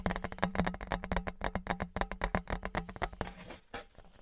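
Fingertips and nails rapidly tap the face of a thin, flat, embossed metal Patriots novelty license plate, about 30 cm wide, held in both hands in front of the mic. About two dozen quick, irregular, dry taps each leave a faint, very short low metallic ring.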